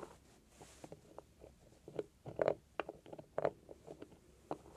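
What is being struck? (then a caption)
Small beaded metal heart-shaped box. Long nails tap and scratch the beaded lid and glittery sides of a small, hollow, heart-shaped metal trinket box resting on a cloth. Quiet, irregular clicks with a dull mid-pitched tone fade almost instantly, mixed with faint scratchy rustles.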